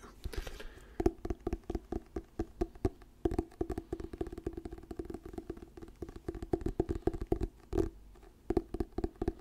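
Fingertips tap and scratch the glossy paper cover and spine of an orange "Diary of a Wimpy Kid" paperback book, held solid near the mic. A brief papery scratch opens the clip, then a long run of quick, dull, close-up taps with a hollow mid-low tone around 340 Hz. Each tap dies almost instantly, with light rustling between them.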